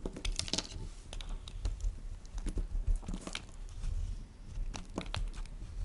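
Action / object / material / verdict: scrape / bar of soap shaved with a plastic peeler / soap / none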